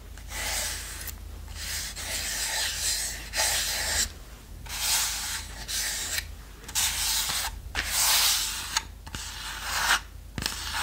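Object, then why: Small plywood box. Long manicured nails scratch and rub the surface of a small, light, hollow plywood treasure-chest box with a brass clasp, held closed in the hand. Bright, hissy scraping strokes come in repeated bursts separated by brief pauses, with very little low end and almost no ring after each stroke.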